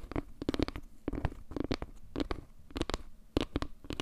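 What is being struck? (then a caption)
Wooden log-slice trivet. Long nails scratch and tap across the surface of a round, solid wooden log-slice trivet with maple-leaf carvings. The result is a quick, irregular series of short, dry knocks with a low, hollow body and almost no ring, separated by soft scratchy rasps.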